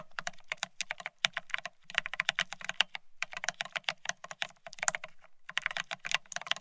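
Fingertips of both hands type fast on a full-size beige split ergonomic keyboard with plastic keycaps. The result is a rapid stream of short, bright, clacky taps in three bursts, separated by brief pauses.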